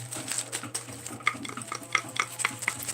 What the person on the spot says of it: Sounds like wooden spoons.